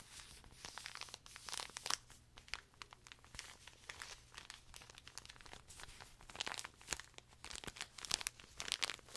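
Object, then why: Pocket tissue pack in thin plastic film. A small colorful pocket tissue pack in a thin plastic film wrapper, full of paper tissues, is crinkled, squeezed and scratched with fingertips and nails close to the mic. Dense, bright crackling and crinkling snaps come in quick, uneven bursts with very short decays over a faint, steady low hum.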